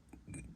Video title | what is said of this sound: 목판 위에 유화 그리기 | 두들겨 봤을 때 탕탕 소리가 날 정도로 그 어떤 경쾌한 소리가 나면은 거의 이제 마른거든